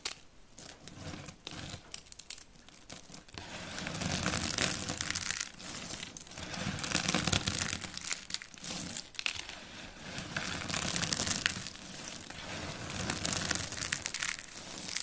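Both hands with painted nails crush and rub handfuls of a heap of white, dry, brittle soap shavings on a wooden board. A dense, bright crunching and crinkling runs throughout, swelling and easing as each handful is squeezed and ground. The crackle stays dry and crisp, with no ring after the crunches.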